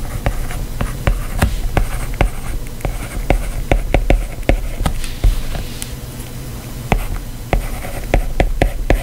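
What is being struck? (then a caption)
Plastic stylus on a glass touchscreen. A hand writes text on the glass touchscreen of a white iPad with a plastic stylus, the tip scratching across the surface between short, sharp taps. The clicks are brief and dry, with faint bright scratching over a steady low hum.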